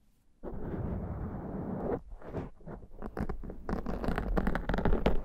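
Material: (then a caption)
Foam. Long dark painted nails and fingertips of both hands scratch and rub a soft, porous, fist-sized black foam windscreen on a handheld Zoom recorder. A steady, muffled rubbing runs for about a second and a half, then gives way to irregular bursts of scratching that grow slightly louder. The sound is thick and low-heavy, with rustling texture but little bright edge.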